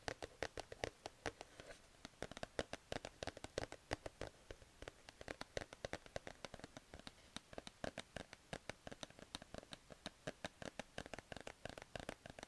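A grey plush cat sleep mask on a cardboard card has its soft fabric scratched and rubbed with fingers and nails. Dozens of quick, short scratchy strokes and taps follow one another steadily, each dying away almost at once. The sound is dry and bright, with a soft fabric rasp over a quiet background.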